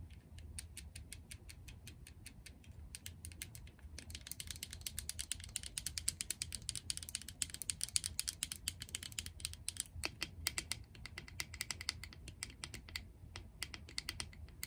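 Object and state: Plastic jar tapped with nails.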